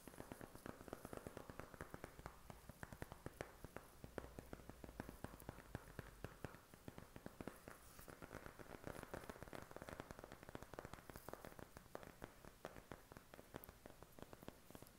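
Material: Cardboard.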